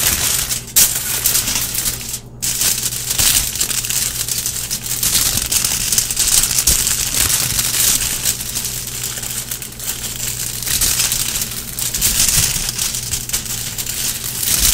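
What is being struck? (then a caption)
Thin aluminum foil sheet. Both hands scratch and rub a large, flat sheet of thin, crinkled aluminum foil spread on a table, using fingertips and long painted nails. The result is a dense, continuous, bright crinkling and crunching that runs nearly the whole clip, with a couple of brief dips in the opening seconds.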